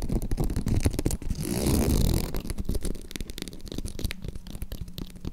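Long acrylic nails scratch across the surface of a green croc-embossed faux leather zip purse and along its zipper edge. A quick, uneven run of rough, low-heavy scratches builds into a denser, louder rasp midway, then eases into softer, scattered scrapes.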